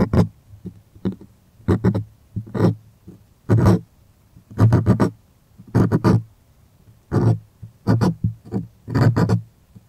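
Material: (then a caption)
Cotton canvas. Fingertips slide, rub and scratch across the taut face of a white stretched cotton art canvas on a wooden stretcher frame, held upright and hollow behind. The result is a series of irregular, close-up scratchy bursts, each with a low, hollow drum-like body and a dry, bright rasp on top, separated by short near-silent gaps.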